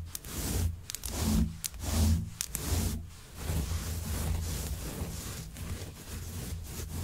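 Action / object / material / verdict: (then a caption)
scrape / synthetic faux fur rug / synthetic fur / none. Long white acrylic nails and fingertips scratch and rub through the long pile of a grey shaggy synthetic faux fur rug lying flat. Soft, low, muffled rustling swells in steady back-and-forth strokes, with faint bright crackles as the nails catch the fibers.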